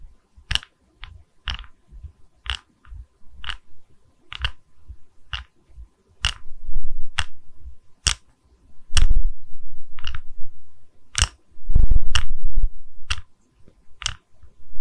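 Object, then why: Wooden log slice coaster. Long red nails tap and scratch the cut face of a small, solid, round wooden log slice coaster with visible growth rings, held in both hands. Sharp, dry, bright taps come at an irregular pace, broken up by longer stretches of rough, sustained scratching with a low rumble underneath.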